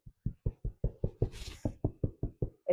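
A freshly baked first sourdough loaf, turned over to check its bottom, is knocked on its underside about twelve times. Each knock gives a short, hollow, low thud, with a brief higher rustle partway through. The hollow sound shows the loaf is baked through, and the crust is crusty and crunchy.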